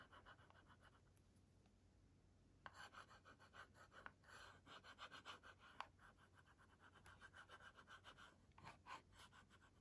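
A pink plastic stylus, held by a hand with long nails, scratches and draws on the dark screen of a kids' LCD writing tablet near the edge; the tablet has a pink and white plastic frame. Faint, soft scratching gives way after a few seconds to louder, quick, dry strokes, each a short scrape centered around 1 kHz with a bright edge. A faint steady low hum runs underneath.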